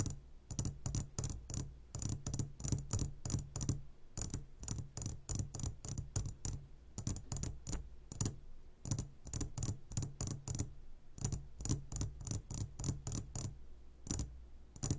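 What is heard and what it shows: Fingertips and short nails tap the sides of a clear glass jar full of gummy candies in quick clusters of sharp clicks. Each tap is bright and brief, over a low hum that rises and falls with the groups of taps.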